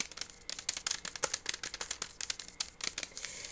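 A large flat chocolate bar in a green foil and white paper wrapper, partly open with the chocolate squares showing, is held in both hands and crinkled with the fingertips. Quick, bright crackles and crinkles follow one another rapidly, thin and high with almost no low end. They merge into a steadier rustling hiss at the end.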